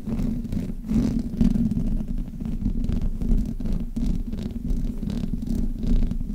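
Long painted nails and fingertips rub and scratch both sides of the hollow metal mesh grille on a black Blue Yeti USB microphone. The result is a steady, close, muffled rumbling scrape, heavy in the low end with a droning tone around 240 Hz. Its loudness swells and dips as the rubbing continues, with no talking.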